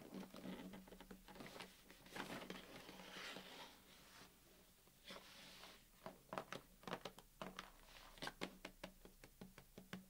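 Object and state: Cardboard cookie box, tapped.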